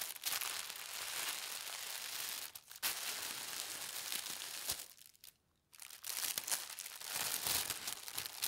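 A large, thin sheet of white tissue paper printed with gold stars lies flat while both palms and long red-nailed fingertips rub and smooth it. The result is a steady, bright crinkling rustle that pauses briefly around 2.6 seconds and falls nearly silent from about 5 to 5.7 seconds before resuming.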